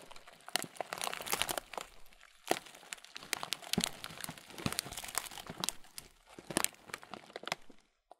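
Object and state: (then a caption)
Plastic bag of muesli. A transparent thin plastic bag, partly full of oat muesli, is squeezed and crinkled in both hands. It gives dense, bright crinkling and crunching in irregular bursts with short quiet gaps. Each crackle dies away almost at once.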